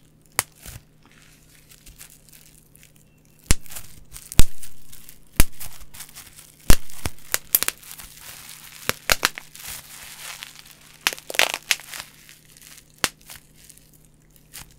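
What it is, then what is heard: Plastic bubble wrap. Clear plastic bubble wrap, held low near the mic, is crushed, crinkled and popped with fingers and nails. Sharp pops and crackling bursts are heard, with crinkling in between, over a steady low hum.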